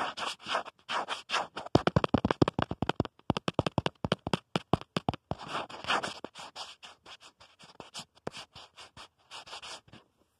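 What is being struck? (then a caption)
Plastic phone case. Fingernails scratch and tap the back of a black plastic phone case on a smartphone held at the mirror, working around the camera module. Soft, bright scratching bursts open and close the clip, framing a louder middle stretch of rapid, sharp, clicky taps with almost no ring.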